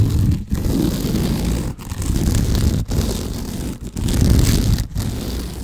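Fingertips and nails scratch along the woven sisal or jute fibres of a rope-wrapped cylinder held diagonally across the microphone. The result is a dense, continuous rasping scrape with a heavy low rumble, broken by brief quiet gaps between strokes.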